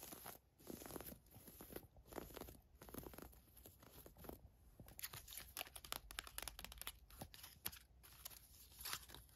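Long nails scratch and rub the ruched fabric of a navy floral-print thin woven camisole top with a hang tag, lying flat on a fur rug. Dense, crisp scratching and crinkling come in quick bursts with bright, airy hiss. Quiet gaps separate the bursts.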